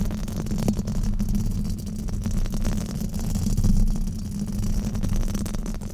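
Fingertips and nails scratch a black foam windscreen on a microphone in a steady rubbing motion. The result is a dense, muffled rumbling scratch, heavy in the low end with a faint hum near 211 Hz and almost no high content. It holds a fairly even level with gentle swells throughout.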